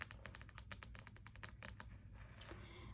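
Fingernails tap rapidly on the glossy card cover of a closed, spiral-bound paperback wordsearch puzzle book. A quick run of crisp, bright, clicky taps plays over a steady low hum for about two seconds, then fades into softer, scattered sounds.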